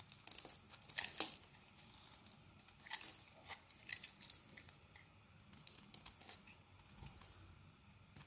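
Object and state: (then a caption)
Bar of soap being carved. A metal blade scrapes and carves flakes off a solid dark green Axe soap bar. The result is quiet, dry, crisp scraping and crumbly shaving noises, mostly high and bright. The strongest bursts come in the first second and around three seconds, with softer scrapes after that.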